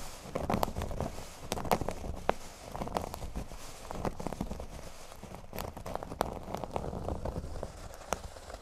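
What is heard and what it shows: Fingernails scratch a flat, thin cork board lying solid on a table, working toward its top corners. The sound is a steady, dry, crackly scrape with a soft low rumble, broken by frequent short, sharp ticks that stop dead with no ring.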